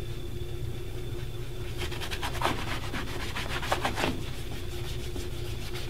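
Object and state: Leather dress shoe being polished.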